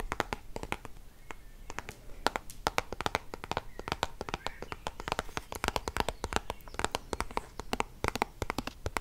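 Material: Soft plastic.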